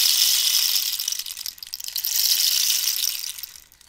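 A hollow cactus-wood rainstick is held up and turned, and the pebble filling rattles and ratchets inside with a dense, bright, hissing patter. The cascade thins out midway, swells again, then trails off to near silence by the end.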